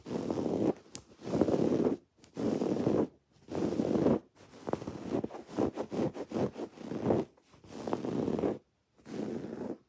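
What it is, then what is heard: Woven fabric pillow scratched with nails. Long dark-painted nails scratch a soft, stuffed, rectangular teal woven fabric throw pillow with raised white cord embroidery spelling "love you more." The scratching comes in repeated rough, rustling bursts, with longer strokes at the start and end and a run of quicker, choppier strokes in the middle. The sound stays mostly in the low-mid range, with short silent gaps between bursts.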